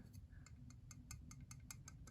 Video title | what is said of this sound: Microtech socom elite overview/review | you push this blade down listen very closely you hear that that is the blade I don't think the blades edge is actually tapping anything but it's making that rattle noise